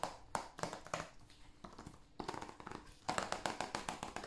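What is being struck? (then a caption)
Plastic game case. Fingertips and nails tap a hand-sized, hollow blue plastic PS5 game case on its cover and along the spine edge. Around twenty quick, unevenly spaced taps come in bursts, each a sharp, dry, bright click with a hollow plastic knock and almost no ring, with a brief quieter stretch before the taps pick up again.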